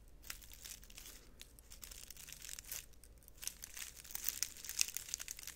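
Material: Dried stems.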